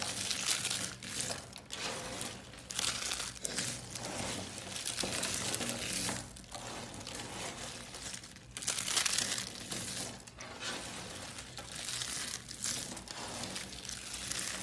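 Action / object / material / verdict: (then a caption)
scrape / dry soap curls and flakes / soap / none. Hands with long blue nails crush and rub a pile of light green soap curls and flakes. The result is a steady, bright crinkling and crunching that swells and fades in waves, with louder rustling bursts along the way.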